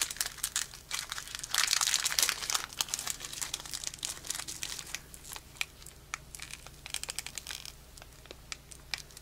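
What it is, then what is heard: Foil trading card booster pack. A small metallic foil Pokémon booster pack with cards inside is held close and crinkled, then torn open at the top by the fingertips of both hands. Dense, bright crinkling and sharp crackles run throughout, with a louder, sustained ripping burst about two seconds in. Quieter, scattered crinkles follow over a faint low hum.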